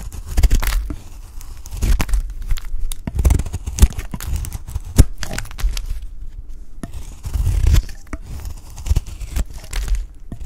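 A peach-pink solid bar of dry soap, getting smaller, is shaved into curls with a utility knife blade. Rough, crackling scraping strokes come in uneven bursts with sharp brittle snaps, heavy in low rumble with faint bright crackle.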